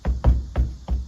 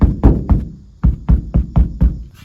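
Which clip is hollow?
The first.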